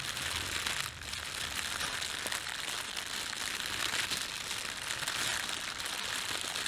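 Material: Plastic film.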